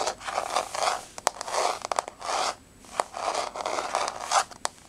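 Long nails scrape and scratch across a flat, solid wood-look laminate floor with a wood-grain surface. Bursts of dry, rasping scraping swell and fade, broken by short, sharp tapping clicks. The sound is mid-to-bright with no low rumble.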